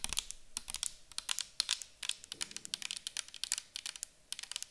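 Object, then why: Plastic bottle of liquid tapped with fingernails. Long acrylic nails tap and scratch a clear plastic micellar water bottle full of liquid as it is held and tilted. A rapid, irregular run of sharp, bright clicks and scratches sounds, each dry and instantly stopped, with almost no low end.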